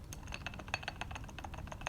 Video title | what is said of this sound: Nikon P-223 Scope Dead at 250 Rounds | the scope is now loose you can hear it there a little bit